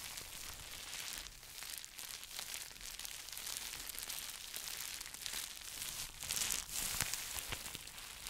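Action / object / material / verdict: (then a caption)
scrape / plastic bubble wrap pouch / plastic / none. A small, hollow, empty pink plastic bubble wrap pouch is held in both hands and crinkled and scratched with fingertips and short nails. The result is a steady, bright crinkling and scratching texture with brief crackling peaks.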